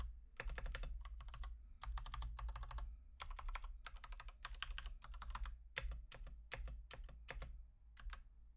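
On an Akko 3108 v2 Monet's Pond full-size plastic mechanical keyboard with Gateron Pink switches, one hand's fingertips type steadily in quick bursts with short pauses. Each keystroke is a short, dry, bright clack that dies away almost at once, over a steady low hum.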